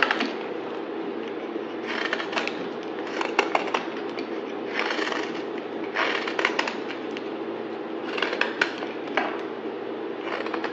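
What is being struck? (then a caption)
Bar of soap cut with a blade. A utility knife blade slices and scrapes a solid yellow-green bar of soap held in the hand. Bursts of crisp, bright scraping and crackling come in repeated strokes, with sharp little snaps as flakes break off, over a steady low hum.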